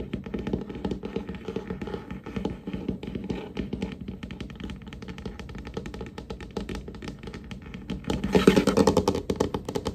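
Fingertips and short nails of both hands tap rapidly across a large, solid, varnished wooden tabletop, making a steady stream of soft, dull, irregular taps with a low-mid body and very little ring. Near the end the tapping grows louder and brighter, with a busier, scratchier edge, before easing off again.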